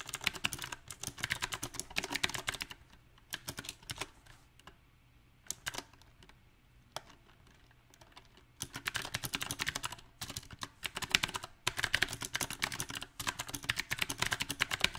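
Fingertips type on a backlit compact mechanical keyboard with round typewriter-style plastic keycaps on a silver metal frame. Dense bursts of bright, sharp clicks come in uneven runs, with a quieter sparse stretch of scattered key presses in the middle before steady typing resumes.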